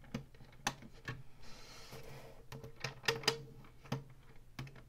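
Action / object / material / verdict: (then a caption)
tap / plastic game console housing / plastic / none. Long fingernails tap the buttons of an Atari Flashback 2 game console, with its hollow plastic housing, and scratch along its ribbed black plastic top. About nine sharp, bright clicks with a short hollow plastic knock sound around a raspy scratching stretch in the middle of the clip.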